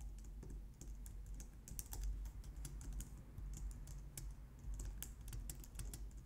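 Long nails and fingertips type rapidly on a compact, low-profile white plastic computer keyboard. A dense, steady stream of bright, crisp key clicks and taps rides over a constant low hum.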